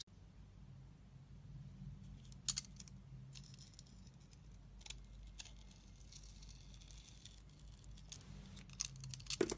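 A utility blade shaves the pink glitter layer off a solid rectangular white bar of soap held in the hand. Soft, quiet scraping and cutting runs over a low steady hum. Brief, bright, crisp scrapes stand out near the start, the middle and in a cluster at the end.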